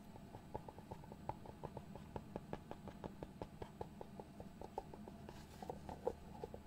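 Fingertips and nails tap and scratch the lid of a small, hollow white cardboard box. A quick series of light, dry taps with a hollow tone around 480 Hz mixes with soft scratching over a faint low hum. Each tap dies away almost at once.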